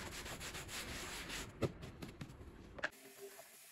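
A gloved hand scrubs a small, soapy, bear-shaped pile rug lying on a plastic sheet with a white handheld brush. Steady, bristly rubbing fills the first half, then breaks into a few sharper, wetter strokes before fading to a quiet hiss.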